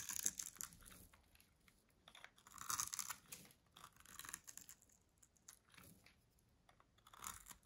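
A small metal blade cuts and scrapes cubes off a green bar of dry solid soap that is pre-scored into cubes and held in the hand. Quiet, dry, crunchy scraping comes in bright, crackly bursts with short pauses between them, and nothing rings on afterward.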